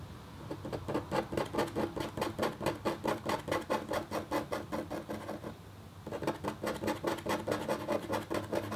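A red-handled, metal-tipped stylus scrapes short strokes across a flat, black-coated copper foil scratch art sheet, working over leaf shapes. The result is a quick, steady run of dry, raspy scratches, about two per second, that stops briefly near the middle before starting up again.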